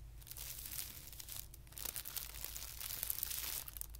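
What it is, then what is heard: Tissue paper sheet being scratched. Fingertips scratch and rub a flat, thin white tissue paper sheet lying on carpet. The result is a quiet, continuous, bright crinkling and rustling, with short louder scratches rising out of it, over a steady low hum.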